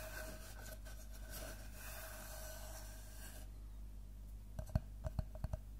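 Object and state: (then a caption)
Wooden log slice. Fingertips and nails scratch and rub across the cut face of a large, round, solid-wood slice of tree trunk, making a steady, dry, bright rasping for about three and a half seconds over a constant low hum. The scratching then drops away, leaving a quiet pause before a quick cluster of sharp, dry knocks near the end.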